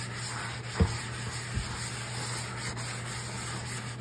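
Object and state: Cast iron skillet being scrubbed.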